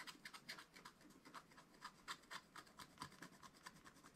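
A wooden stylus scratches quick strokes into the black wax coating of a small spiral-bound scratch-art paper pad. About twenty short, dry, bright scratches follow one another in a steady rhythm, each stopping abruptly with almost no low end. The sound is quiet and raspy throughout.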